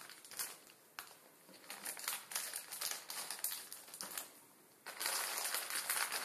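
A full plastic instant ramen packet holding a dry noodle block rests on a table and is pressed and crushed under the fingertips of both hands. It gives bright, crackling crinkles in uneven bursts with almost no low end, easing quieter just before the five-second mark. It then swells into a louder, denser crinkling that lasts to the end.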